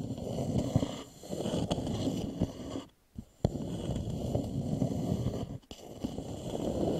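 Fingernails tap and scratch near the foot ring of an upside-down, hollow, polished wooden bowl. The sound is a steady, low, rough scratching with a hollow hum, broken by brief quiet gaps and a few sharp taps around the middle. The scratching then resumes.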